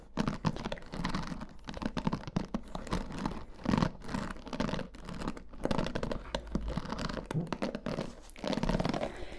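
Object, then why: Plastic paddle hairbrush with bristles. Long fingernails scratch and rub across the black bristles of a green plastic paddle hairbrush held in both hands. The result is a dense, continuous run of quick, dry scratching and rustling strokes, swelling and fading in short bursts with a soft low-mid body.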